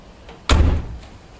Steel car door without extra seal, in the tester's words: aș spune că sună chiar bine mă așteptam să sune mai a conservă Sincer să fiu pentru că ușa nu este izolată